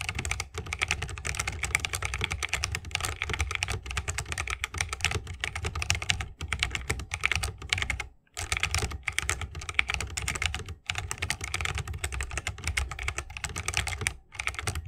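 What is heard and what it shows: Fingertips of both hands type continuously on a 60% mechanical keyboard with plastic keycaps and Holy Panda tactile switches set in a bamboo wooden case. Rapid, dense keystrokes give a bright clacky top with a deeper thock underneath, each click dying almost instantly. The typing breaks off briefly around 8 seconds and again near 11 and 14 seconds.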